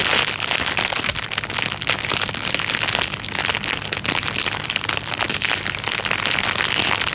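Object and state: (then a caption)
Clear plastic bag. A thin, clear, transparent plastic bag lying flat is rubbed and scratched with the fingertips. It makes a dense, continuous bright crinkling and rustling with rapid crackles and very little low end.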